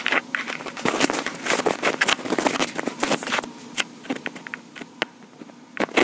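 Long pink acrylic nails tap and scratch around the top of a small black plastic Tascam portable recorder with metal grilles. A rapid, dense run of sharp clicks and crackly scrapes follows, bright and dry with almost no low end, each tap dying away quickly. The taps thin out toward the end before a final cluster.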